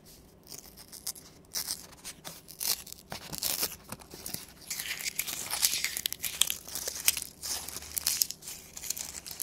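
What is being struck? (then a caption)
Thin construction paper strips. A small bundle of thin, flat green construction paper strips, cut from a sheet, is crumpled, twisted and rubbed between the fingertips of both hands. It makes dense, bright crinkling and rustling with sharp crackles that come in uneven bursts. The sound grows busier and louder through the middle and end.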